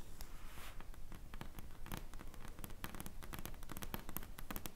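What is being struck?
Smartphone in plastic case.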